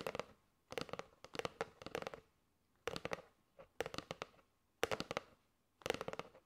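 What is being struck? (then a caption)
Cardboard box of paper straws. A flat rectangular kraft cardboard box with a clear plastic window showing teal and gold paper straws, which looks full, is held in both hands and tapped quickly with long manicured nails on its front and edges. Quick flurries of dry, clicky taps come in short bursts separated by brief pauses, each tap dying away almost at once. The taps carry a hollow midrange tone around 480 Hz.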